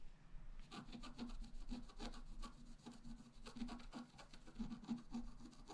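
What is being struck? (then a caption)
Wooden stylus scratching a black-coated scratch-art card. A wooden stylus scratches a flat black-coated scratch-art paper card with vigorous strokes on the left. It makes a steady run of rapid, rough scratching strokes with bright, papery edges over a low, buzzing undertone.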